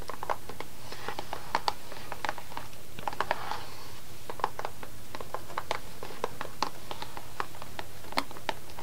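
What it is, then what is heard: Cardboard candy box. Long nails tap and scratch the front of a small upright green cardboard box of chocolate sticks held in both hands. Quick, light, irregular clicks with a papery midrange and bright edges come over a quiet, steady low hum, with a brief soft scratch in the middle.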